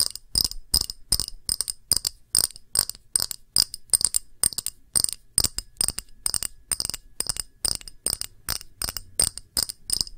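A small, round, empty clear pressed-glass dish with a textured rim is tapped quickly with long nails along its rim and face. The result is a rapid, uneven run of sharp, bright clicks with a high glassy ping, each dying away almost at once with very little low end.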